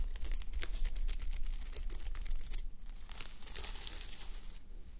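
Long nails scratch and flip the plastic reversible sequins on a fabric sleep mask resting on a white mannequin head. The result is a dense, crinkly patter of bright little clicks and scrapes over a low steady hum. The scratching is louder in the first half and then settles into a softer, steadier rustle.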